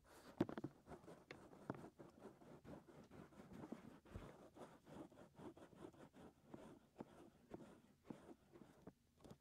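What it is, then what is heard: Silicone microphone ear being scratched. Fingertips of both hands scratch inside the ear canals of the white silicone ears on a 3Dio binaural microphone. The result is a quiet, continuous run of soft, rapid scratching and rubbing, dull and muffled with almost no high end. Small, brief peaks rise here and there through the 9.5 seconds.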